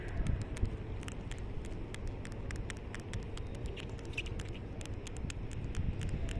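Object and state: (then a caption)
Polished granite slab. Long nails tap and scratch the smooth surface and edge of a large, solid, polished red granite ledge or monument slab. Rapid, bright, short clicks keep landing over a steady low rumble that fills the clip.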